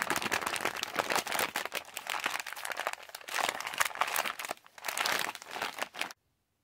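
Fingertips crinkle and tap the surface of a yellow Halls resealable plastic candy pouch while hands squeeze it. This produces dense, bright, crisp crinkling with sharp crackles and no low end. The sound briefly dips near the middle, then stops abruptly just after six seconds.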